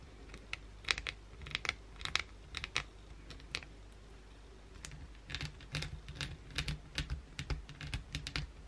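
Long pointed blue acrylic nails scratch the face and edge of a solid white oval bar of soap held in the hand. Sharp, bright scratching clicks come in quick bursts over a low steady hum, pause briefly near the middle, then return in a denser run to the end.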